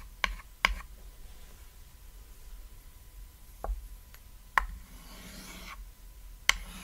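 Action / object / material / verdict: scrape / chalk stick on a small chalkboard / chalk / none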